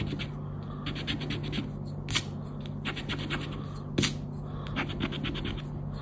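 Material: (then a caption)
Coated paper. A round black plastic scraper rubs across the scratch-off grid of a thin coated-paper Recompensa scratch card lying flat on black cloth. The result is a run of quick, papery scratching strokes with a few louder, brighter swipes, all over a steady low hum.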